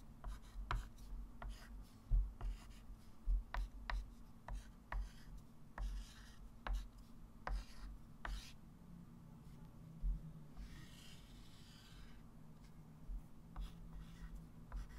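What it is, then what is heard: Chalk writing on a chalkboard. A hand writes an equation with a white chalk stick on a small, solid, flat wood-framed chalkboard. Short, sharp chalk taps and scratchy strokes with bright edges come in an irregular rhythm over a steady low hum, with a longer soft rubbing stretch near the middle.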